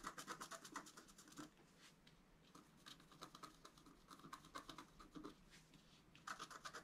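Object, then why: Black-coated scratch paper scratched with a wooden stylus. A wooden stylus scratches a flat black-coated scratch art card lying on a table, working over a floral and antler design. Short, dry, bright scratching strokes come in quick irregular bursts, with a quieter stretch of light scraping in the middle before the brisk strokes return.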